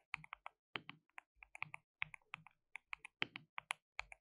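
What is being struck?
Plastic mechanical keyboard.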